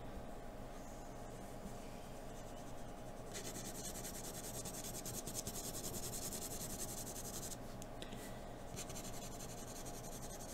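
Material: Paper.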